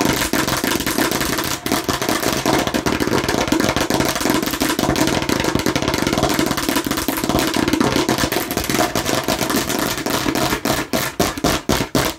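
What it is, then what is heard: Plastic toy watermelon slice. Aggressive tapping and scratching on a plastic (fake) watermelon slice produces a dense, continuous clatter of rapid hard clicks and rough scraping, centered around 250 Hz with bright high edges. Toward the end, the sound breaks into more distinct, separated taps.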